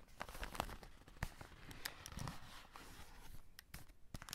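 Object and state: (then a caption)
Cardboard chocolate box with plastic window. A full cardboard chocolate box with a plastic window is handled: fingertips scratch the plastic window and a flat hand rubs over the printed cardboard. Quiet, dense crinkling and scratching is broken by sharp clicky ticks and brief bright scrapes, over a soft low rustle throughout.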